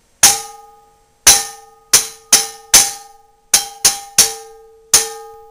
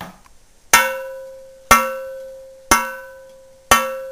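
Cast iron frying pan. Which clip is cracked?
The first.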